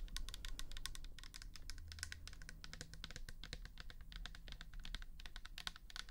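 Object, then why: Plastic toner bottle. Long nails tap rapidly and steadily on the bare plastic side and the label of a pink plastic toner bottle filled with liquid. The result is a dense stream of quick, bright, dry clicks that stop short with no ring, over a steady low hum.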